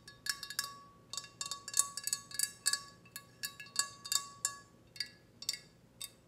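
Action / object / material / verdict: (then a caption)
tap / small glazed ceramic teapot / ceramic / none. Long painted fingernails tap a small, glossy red ceramic teapot, hollow and empty with no lid, held in one hand, striking its body, spout and handle area. About twenty quick, bright, chime-like clicks ring briefly, with a steady tone around 1 kHz under the high, sparkling overtones.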